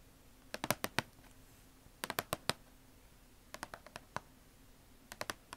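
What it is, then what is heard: Cardboard shoebox lid tapped with nails. Long acrylic nails and fingertips tap and scratch across the closed lid of a hollow red Nike cardboard shoebox. Quick, bright, clicky taps come in four short bursts separated by pauses, each dying away almost instantly over a faint steady low hum.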